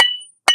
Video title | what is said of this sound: सहारनपुर में आज ईंट का बाजार - 1 नंबर ईंट का रेट क्या है? - Saharanpur Brick Market Today | देखो, ये आवाज टन टन की आवाज। ये होता है फर्स्ट माल।